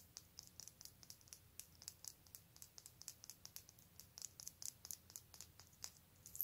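A metal ball chain with a small solid metal winged-skull pendant is held in both hands and shifted and fiddled with the fingertips. It makes a quiet, steady stream of about three dozen short, bright, high-pitched clicks over a faint low hum.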